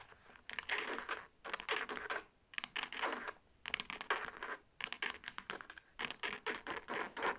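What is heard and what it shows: Long painted nails scratch the striped fabric flap of a hollow navy faux leather shoulder bag held up in the air. The result is bursts of fast, dry, bright scratching, broken by short pauses, with quicker flicking strokes toward the end.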